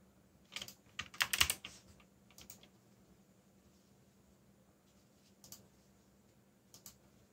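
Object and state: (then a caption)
Plastic mechanical keyboard. Fingertips tap the keys of a backlit black plastic mechanical keyboard, producing eight sparse keystrokes: a quick cluster in the first two seconds, then isolated taps after long pauses. Each stroke is a short, bright, high click that dies away almost instantly, over a faint steady low hum.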